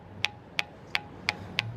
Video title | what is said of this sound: TDW 1290 - The Bell Rock : Stone Actually Rings | It's actually making a bell sound.